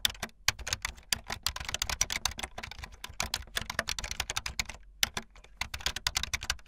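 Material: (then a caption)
Plastic. Fast typing on a full-size backlit plastic Bluetooth membrane keyboard with white and blue plastic keycaps and a hollow plastic body, the keys pressed with fingertips and the tips of long painted nails. It makes a rapid, dense stream of short, bright plastic clacks with little ring, broken by a couple of brief pauses.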